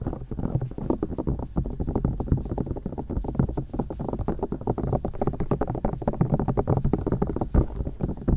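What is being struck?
Silicone ears of a binaural microphone.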